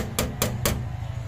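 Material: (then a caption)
Plastic. Three taps of a tool on the hard oil cooler seal ring, about 72 to 73 mm across, from the K6A engine of a Suzuki DA64 automatic turbo minivan with an oil leak. Each tap gives a short, bright click over a steady low hum. Because the ring sounds out where rubber would stay quiet, it is judged to be more or less plastic, not rubber.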